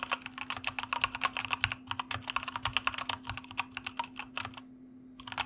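A white plastic mechanical computer keyboard is typed on with the fingertips of both hands, giving about 33 rapid, bright, clacky keystrokes that stop sharply with almost no ring. A faint steady low hum runs underneath, and the typing pauses briefly near the end before a few more keys are struck.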